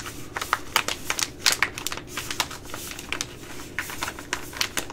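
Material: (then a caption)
Plastic. An Uncle Ben's Ready Rice pouch, a small flexible sealed plastic pouch that appears full of rice, is held in the hands and tapped and scratched with long glittery acrylic nails. It gives a rapid, irregular series of sharp, bright clicks and crinkly scratches, each dying away almost instantly, over a low steady hiss.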